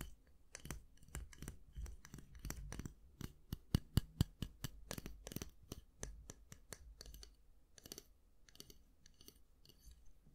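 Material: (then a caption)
Plastic. Fingernails tap and click on the black plastic handle of a round styling brush and scratch across its bristles. Quick, irregular dry clicks with bright, sharp attacks that stop almost at once come over a soft, low background. Some brief scratchy bursts are mixed in.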